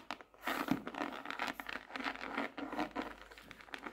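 Long nails tap and patter quickly on the front cover of a closed, solid, dark laminated hardcover notebook with a glossy tropical-leaf print, lying flat on a desk. The result is a fast, continuous stream of short, dry clicks with a crinkly, papery texture, centered in the low-mid range with some bright edges, and almost no low rumble.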